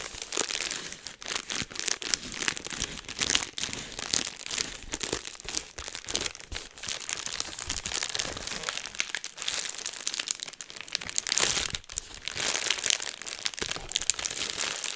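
A sheet of clear plastic bubble wrap is held upright in both hands while fingertips pinch and pop the bubbles and crinkle the sheet. The sound is a steady run of bright, crisp crinkling and crackling over 15 seconds, full of sharp little snaps with almost no low end.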